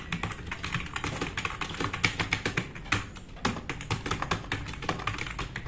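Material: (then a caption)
Plastic. Fast typing with the fingertips of both hands on a black RGB-backlit tenkeyless plastic mechanical keyboard with plastic keycaps, resting on a wooden desk. A rapid, dense stream of short, bright clicky keystrokes is heard, with a low thocky body under each press and very quick decay between taps.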